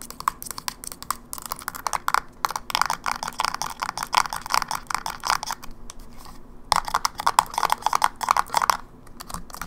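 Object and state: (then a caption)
Plastic handheld game console. Long nails rapidly tap the back panel and edges of a closed silver plastic Game Boy Advance SP, a small, hollow handheld game console held upright. The dense stream of short, dry, clicky taps is centered around 1 kHz, with brief pauses near 2.3, 6.3 and 9.2 seconds.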